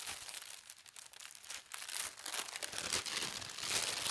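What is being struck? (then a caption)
Thin tissue paper sheet. A thin white tissue paper sheet printed with gold stars is folded smaller on a table while fingertips with long red nails press and rub along the folds. The result is a steady, bright, dry crinkling and rustling with little low end, growing slightly louder toward the end.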